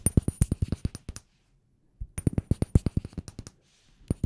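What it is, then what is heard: Glass room spray bottle tapped. Fingers tap a glass room spray bottle in quick bursts of sharp, hard clicks with a faint high ringing. The bursts are separated by a short pause, and the glass part sounds different from the labelled part.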